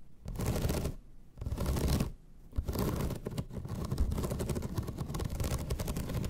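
Long red nails scratch across the ribbed surface of a flat bamboo slat placemat. Two separate bursts of rough, ratcheting scratching are followed by a steady stretch of dense, rapid scraping. The sound is heavy in the low end with a faint bright crackle over it.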